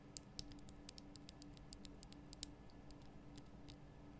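Long nails tap the sides of a large, lit, pink Himalayan rock-salt lamp, a solid rough crystal block. The result is a quiet, irregular patter of sharp, bright clicks that die away almost instantly over a steady low background hum.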